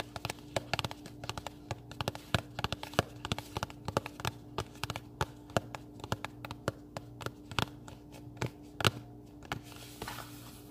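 A small pink printed cardboard recipe box, closed and hollow, is held in both hands and tapped and scratched with fingernails. Dozens of quick, dry, short taps come at an uneven pace, mixed with faint scratching, over a steady low hum.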